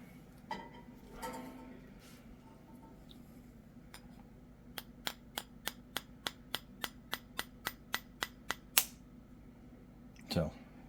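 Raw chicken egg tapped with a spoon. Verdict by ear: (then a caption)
Cracked. A spoon taps repeatedly on the rounded end of a raw chicken egg, making a steady series of light, sharp ticks that end in a slightly louder crack as the inner membrane breaks. A brief, louder rustle follows a moment later.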